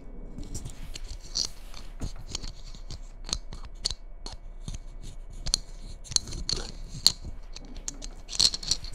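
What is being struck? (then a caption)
Glitter-coated Christmas bauble. Long red nails scratch the glitter coating of a hollow red glitter Christmas bauble held close to the microphone. The result is a dense run of short, dry scratching clicks with bright, high crackle and little low body.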